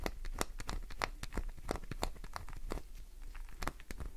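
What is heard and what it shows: Fingernails scratch deep grooves into a solid green glycerin soap bar held in the hand, scattering shavings. Quick, crisp scraping and crackling strokes come in a rapid, uneven series of bright, sharp transients over a soft low rumble.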